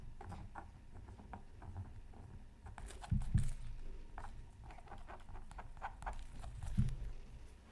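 A bamboo stylus makes short scratching strokes on a flat, black-coated scratch art card from a Mythical Creatures Super Scratch Art Pad, lying beside a sheet of tracing paper. Soft, irregular scratchy patter continues over a low, dull rumble, with a few louder, sharper scrapes standing out along the way.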